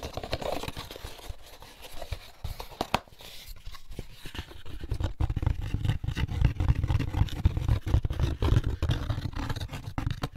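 Fingertips scratch and tap the lid and inside surface of an empty molded paper pulp egg carton, first with it closed and then opened. Dry, papery scratching and quick, irregular taps run throughout. From about the midpoint the taps grow louder and more thudding.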